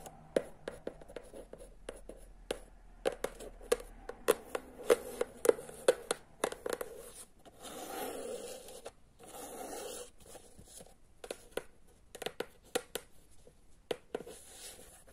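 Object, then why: Hardcover book with board cover. Quick, dry fingernail clicks on a hardcover book, with a stretch of scratchy rubbing across the cover.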